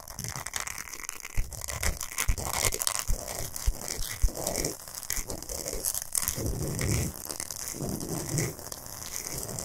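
Long nails scratch fast and aggressively across a large, flat, solid pink Himalayan salt block. The result is a dense, gritty rasp with bright hiss up high and short, sharp scraping bursts that rise and fall over a low rumble.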